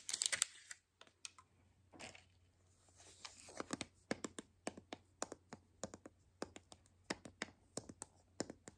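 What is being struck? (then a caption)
Hollow plastic toy capsule ball. A white hollow plastic toy capsule ball is held in the hands while long nails tap and click on its shell. The clip gives a quick run of sharp, bright plastic clicks with scratchy, crinkly rubbing between them. The taps stop dead with no ring after each one.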